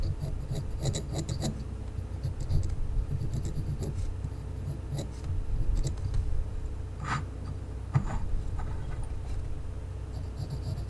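A small unpainted solid wooden race car held in one hand has lines scratched and drawn onto it with a mechanical pencil. Quiet, dry scratching strokes with faint bright ticks rise over a steady low hum.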